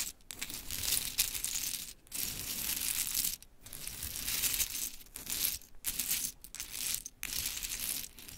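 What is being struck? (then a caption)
Pile of small wooden clothespins. Long chrome nails rake and tap through a pile of small pink wooden clothespins scattered on sparkly cloth. Bright, dry clattering and rattling come in bursts separated by brief pauses, with little low end and very short ring.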